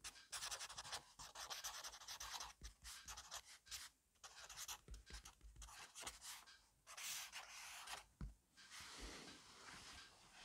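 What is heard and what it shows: A black fineliner pen scratches and rubs quickly across an open grid-paper notebook lying flat on a wooden desk, fast messy scribbling. The bright, hissy strokes come in rapid bursts separated by short pauses.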